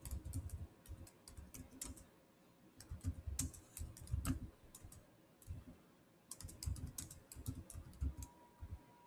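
Fingertips type fast on the solid keys of a black plastic chiclet keyboard on a silver Samsung laptop. Quick bursts of soft, dull clicks with low thumps are broken by short pauses, and a faint steady tone hums underneath near the end.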